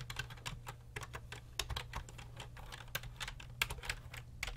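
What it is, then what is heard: Plastic computer keyboard. Fingertips type and tap continuously on the hollow plastic keys of a full-size grey and black computer keyboard resting on a desk. The result is a brisk, uneven run of short, bright clicks that stop almost instantly, with a few sharper, louder taps. A steady low hum sits underneath throughout.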